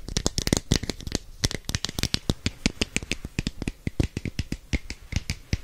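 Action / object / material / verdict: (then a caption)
tap / plastic capsule container / plastic / none. Long fingernails tap rapidly on a hand-sized, hollow red and orange plastic capsule, making a quick, irregular run of dry, clicky taps. Each tap has a hollow low knock under a bright tick and stops instantly without ringing.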